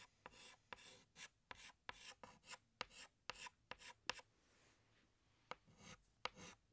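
A hand scratches a green chalk stick across a large, flat black chalkboard in a series of quick, separate strokes. Each stroke starts with a sharp tap and turns into a dry, bright, raspy scrape with almost no low end, with brief quiet pauses between them.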